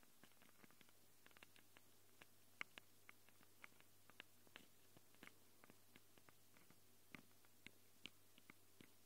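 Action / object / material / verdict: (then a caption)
tap / handheld recorder with metal-ringed mic capsules / metal, plastic / none. Long glitter acrylic nails scratch and tap the metal-ringed grilles of the two X/Y mic capsules on a small black plastic Tascam handheld recorder. About 24 quiet, sharp, dry clicks and taps come at irregular intervals, some with a faint bright metallic ping near 2.2 kHz. A steady low hum sits underneath throughout.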